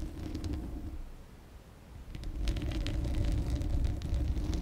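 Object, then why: Steel mesh grille of a condenser microphone. Long acrylic nails scratch the bare steel mesh grille of a large, hollow condenser microphone while the hand covers much of the grille. The sound is a deep, muffled rumble with bright, crackly scratching bursts. It fades briefly near the middle, then returns louder and denser.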